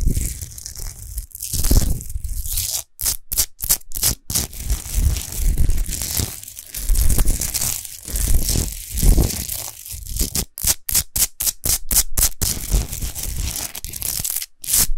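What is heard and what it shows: Long nails scratch quickly over a tall, rough-textured natural Himalayan rock salt lamp, which is unlit and made of solid salt. The sound is a dense, gritty scrape with a deep rumble and a bright hiss. It comes in rapid bursts broken by short silent gaps, with a quick run of stop-start strokes around the third second and again near the eleventh.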